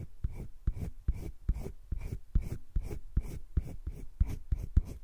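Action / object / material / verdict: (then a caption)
scrape / colored pencil on drawing paper in a spiral sketchbook / paper / none. A colored pencil rubs shading strokes across flat cream drawing paper in a wire-bound spiral sketchbook. About fourteen quick back-and-forth strokes are heard as dry, scratchy bursts, each with a dull low thump and a bright papery hiss that stops almost at once.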